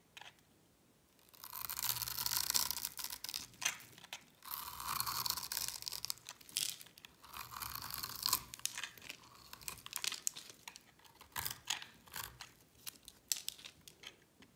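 A metal blade scrapes and scores grooves into a solid, palm-sized oval bar of dry orange soap with embossed lettering, held in the hand, shaving off flakes. It makes bright, dry, crunchy scraping in longer bursts broken by many short, crisp scratches. There is almost no low end, and each sound stops with no ring.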